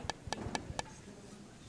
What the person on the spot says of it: This is bone dry greenware. See, it sounds like wood.